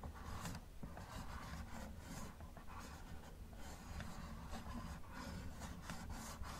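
A gloved fingertip scratches and rubs the hood of a hollow yellow plastic Camaro model car. The result is a soft, continuous rasping scrape over a steady low rumble, with brief bright streaks as the strokes pass.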